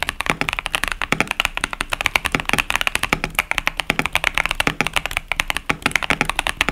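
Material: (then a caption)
Plastic. A compact KBD67 Lite mechanical keyboard with a plastic case, cherry-profile plastic keycaps and tactile Boba U4T switches is typed on continuously by both hands, fingertips pressing and striking the keys. A steady, rapid run of short, sharp, bright clacks sounds, each dying away almost instantly, with little low end.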